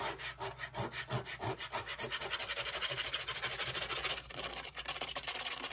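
A flat brown corrugated cardboard piece is held up and turned while its face and corrugated edge are scratched with long acrylic fake nails. About 25 quick, separate scratching strokes make a dry, bright rasping sound.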